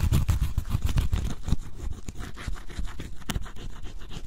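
A pointed wooden stick scratches the black scratch-off coating on cardboard jigsaw puzzle pieces, revealing green color underneath. Quick, dry scraping strokes come in a dense, low-heavy rhythm, louder at first and then softer with scattered sharper scratches.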